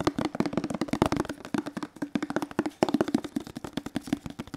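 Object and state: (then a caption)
Hollow plastic detergent bottle. Fingertips, one hand gloved, tap and rub a hollow teal plastic detergent bottle. About 26 quick, dry taps land in a rapid, uneven rhythm, each with a short hollow knock around 350 Hz that dies away almost instantly, with soft rubbing between them.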